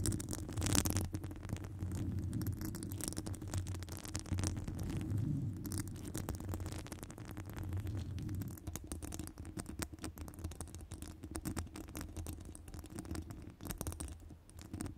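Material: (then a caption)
Metal mesh. Long acrylic nails scratch a hollow metal wire-mesh microphone grille, making a steady, dense stream of rough scratching and rattling with a heavy low-end rumble. Faint bright crackles run over the top. The level stays fairly even for the whole clip, with a brief louder burst near the start.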